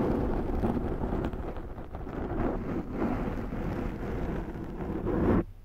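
Long nails of both hands scratch the top and sides of a large round black foam windscreen on a Zoom microphone. The scratching makes a dense, steady, low rumbling scrape with heavy bass and little brightness, swelling and easing slightly over time. It cuts off abruptly near the end, leaving a faint low hum.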